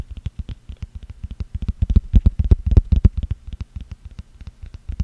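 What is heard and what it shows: Fingertips and nails scratch and tap the top and ridged rim of a small, round, hollow, empty green plastic screw-top jar lid held in one hand close to the microphone. The result is a rapid, uneven run of short, dull, low-pitched taps and scratches that swell in the middle and die away almost instantly.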